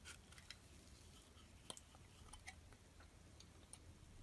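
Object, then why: Bar of soap. A solid dark purple soap bar held in the hand is scraped with a metal utility blade, peeling off purple shavings. Faint, crisp ticks and bright scratchy clicks come at irregular intervals over a quiet, steady low rumble, each snap dying away almost instantly.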